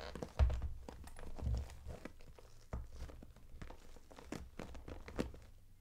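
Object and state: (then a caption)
Clear PVC makeup bag. Long acrylic nails tap and scratch the front and zipper edge of a closed, transparent daisy-print PVC cosmetic bag with pink zipper trim, full of makeup items. Soft, dull plastic thumps mix with light crinkling scratches, the sound staying low and muffled with a few sharper taps.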